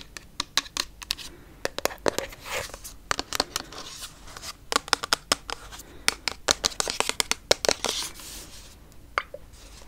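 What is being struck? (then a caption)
Frosted plastic bottle with liquid. Long nails tap and scratch a pink frosted plastic toner bottle with liquid inside. The result is a quick, irregular run of sharp, bright plastic clicks with dry scratching between them, and almost no low end or ring.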